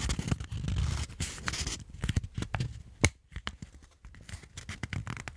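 A small stack of folded white paper is handled in front of a microphone as fingertips and thumbs press, rub and fold the layers. Dense crinkling and rubbing fill the clip with low, soft handling noise and bright crackles, plus one sharp crisp snap near the middle. Quieter rustling follows.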